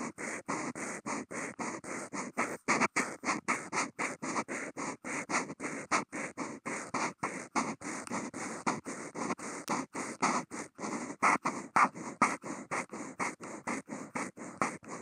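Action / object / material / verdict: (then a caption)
scrape / Kent paper sheet drawn on with a marker nib / paper / none. A black Posca marker nib scratches fast zigzag lines across a blank white Kent paper sheet, picked up by a contact mic on the marker. Dozens of short, rapid, slightly uneven scratchy strokes follow one another, each a dry, broadband rasp with a bright high edge and a midrange center around 1 kHz.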